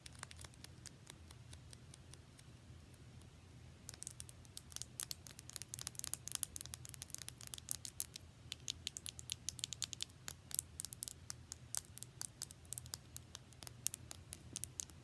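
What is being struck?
Small plastic cosmetic tube.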